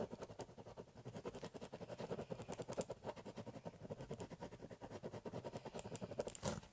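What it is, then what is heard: Pen scratching on a cardboard box. A biro pen scratches short, rapid hatching strokes across the surface of a large, empty, hollow corrugated cardboard box. Each quick, dry scratch is followed by a brief hollow midrange resonance, forming a steady, quiet patter with a few brighter scrapes.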